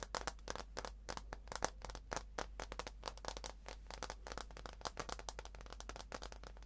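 A slim wireless keyboard with white plastic keys on an aluminum body is held by hand while fingers tap the keys, then it is turned over so fingernails tap and scratch the aluminum underside. Quick, dry, clicky taps come in a dense, uneven stream with bright edges and almost no ring, over a steady low hum.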